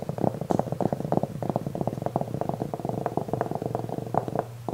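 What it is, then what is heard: Velvet-covered jewelry tray being scratched. Fingernails of both hands scratch the surface of a black velvet-covered jewelry tray held upright. A dense run of quick, soft, muffled scratches follows, with a low rumbling body and almost no bright content. The scratching continues steadily throughout.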